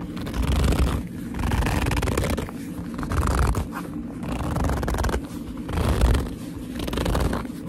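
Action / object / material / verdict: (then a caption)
scrape / leather handbag / leather / none. Long nails and fingertips rub and squeeze the front panel of a hollow black leather handbag, giving squeaky, gripping leather rubs over a deep, muffled low rumble. The squeezes come in slow, uneven swells that rise and fade throughout.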